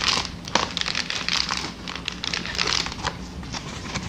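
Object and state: Plastic air cushion packaging.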